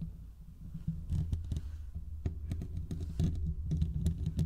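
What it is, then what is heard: Metal microphone mesh grille being scratched. Fingertips of both hands scratch the hollow metal mesh grille of a large condenser microphone. It makes a dense, muffled, low rumbling patter of irregular scratches and quick, dry clicks, close and boomy, with almost no ring.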